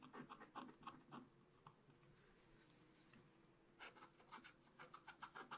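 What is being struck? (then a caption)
Black-coated scratch-art card scratched with a wooden stylus. A wooden stylus scratches continuous strokes into a black-coated scratch-art card in a spiral book, making dry, raspy scraping bursts in a quick, uneven rhythm. The strokes soften into a quieter stretch in the middle, then return in a fast run of crisp, bright scratches to the end.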